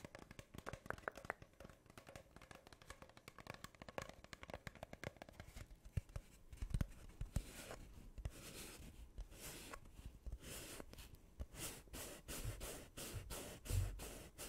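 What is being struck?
Cardboard tube.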